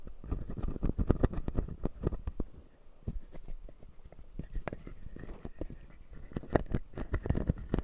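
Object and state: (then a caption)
Plastic dental model. Fingertips and nails tap and scratch the white resin teeth of a clear acrylic full-jaw dental model. The result is a dense run of quick, dry, low-pitched taps with short scratching between them and almost no ring.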